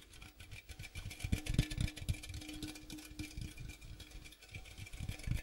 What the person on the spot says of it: ASMR Tapping Sounds on Popcorn Box